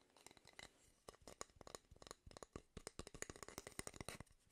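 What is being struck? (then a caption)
Wooden cooking spoon. A single light, solid wooden cooking spoon is held up in both hands while fingertips and nails scratch and rub along its bowl and handle. The result is a rapid, irregular series of short, dry scratching clicks and rubs with a bright, crisp edge and almost no ring, set against a quiet background.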